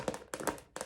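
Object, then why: Plastic purse. Fingers tap on a recently bought plastic purse, producing quick, light taps in three short clusters. Each tap is a dry, hollow click with a mid-pitched tone that dies away almost instantly.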